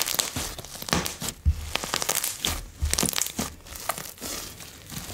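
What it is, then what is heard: Foam-bead slime. Fingertips press, fold and poke a large, soft mass of blue slime dotted with small coloured foam beads on a bamboo board, squeezing out its air pockets. Dense, crinkly squishing and bright crackles run throughout, with soft low pops and thumps as the pockets burst.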